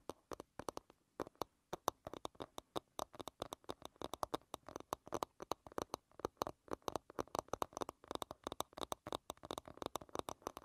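Long red nails tap and scratch the smooth back of a small, solid wooden hairbrush. A rapid, uneven run of about 65 short, dry clicks comes through with almost no ring, separated by faint scratching. The sound is quiet and centered in the midrange.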